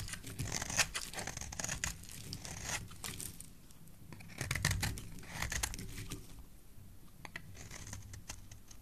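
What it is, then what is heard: Soap bar being shaved. A solid, oval, cream-colored soap bar held in the hand is shaved with a black utility knife blade, peeling off white strands. Close, crisp scraping and cutting sounds come in dense bursts of crackly, tearing texture, with bright high edges over a soft low rumble. The loudest passages fall near the start and around the middle.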